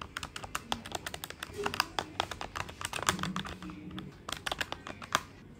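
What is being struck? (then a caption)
Plastic desktop calculator keys. Fingertips of both hands type quickly on the plastic keys of a black plastic desktop calculator with a hollow body. The result is a rapid, irregular run of short, dry clicks and taps with a bright, clacky edge and almost no ring, over a faint low hum.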